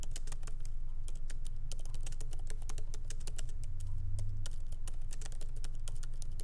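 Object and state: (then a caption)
Laptop keyboard, plastic keys in aluminium body. Fingertips of both hands type lightly on a MacBook Pro laptop keyboard, its small plastic keycaps set in an aluminum body, resting on a wooden desk. Quick, uneven, bright clicks and taps run steadily throughout over a constant low hum.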